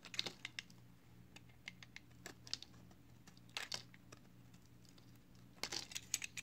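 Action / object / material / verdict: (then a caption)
scrape / solid bar of soap shaved with a thin blade / soap / none. A box cutter blade shaves the face of a palm-sized, solid green flower-shaped soap held in one hand. Quiet, bright, dry scraping crackles in short strokes, with denser bursts near the start, middle and end, and scattered crisp ticks in between. A faint low steady hum runs underneath.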